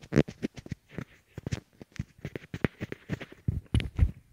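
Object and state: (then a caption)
Plastic earbuds tapped and rubbed. Fingertips tap and rub a pair of small white hollow plastic Apple EarPods, which rest on a wooden table and serve as the recording microphones, touching both at once. The result is a rapid, irregular series of close, dull, low thumps mixed with soft scratchy rubbing, each sound dying away almost instantly.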